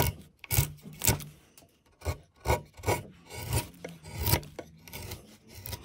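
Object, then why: Pine wood block carved with a metal chisel. A metal chisel held by hand scrapes and cuts into the surface of a large solid block of light pine wood, which has a relief pattern carved into it and is covered in shavings. Repeated rasping carving strokes come in short bursts, each with a low woody body and a bright scraping edge. Short pauses separate the strokes, and the sound stops quickly after each one.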